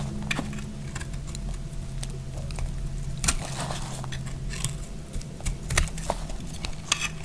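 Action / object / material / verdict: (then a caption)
scrape / bar of soap shaved with a blade / soap / none. A hand-sized solid beige bar of dry soap, held in the hand, is shaved with a snap-off utility knife blade. Crunchy, bright scraping cuts crackle over a steady low hum. Flakes fall onto a pile of shavings.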